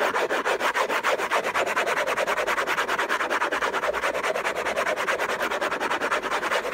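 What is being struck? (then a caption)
Textured-paper cardboard box lid. Fingertips and nails scratch fast and hard across the hollow lid of an orange, textured-paper cardboard gift box. The result is a continuous run of rapid, dry rasping strokes in a loosely regular rhythm, with a papery mid-range body, bright hiss on top and no low end.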